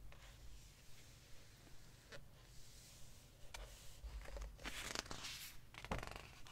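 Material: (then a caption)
Glossy paper. Fingertips rest on and rub a glossy paper page of an open hardcover book, then curl the page corner to turn it. Quiet brushing and sliding sounds with brief crisp ticks lead into louder, bright rustling and crinkling as the page lifts and turns, over a steady low hum.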